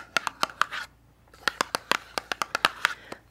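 Long nails tap and scratch the flat sides of a small, hollow, yellow printed cardboard skincare box, likely holding Tula sunscreen, held in both hands. About sixteen short, dry, hollow clicks land around 1.3 kHz with bright edges, plus a brief scratchy rasp. A pause of nearly half a second splits a few early taps from a steadier run that follows.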